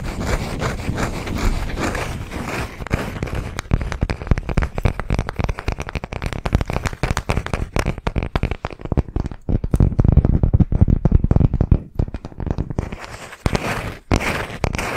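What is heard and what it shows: Fingernails tap and scratch rapidly on the cut face of a palm-sized round slice of solid wood with a bark rim. The dry, clicky taps and scraping have a low, woody thump with very little ring, and the pace speeds up and slows down with brief pauses.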